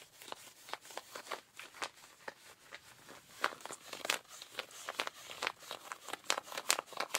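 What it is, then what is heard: Denim jeans. Pink rubber-gloved fingertips scratch the thigh of ripped blue denim jeans, making a quick series of dry, bright scraping strokes. The rasps are short and uneven in loudness, with no low-end thump.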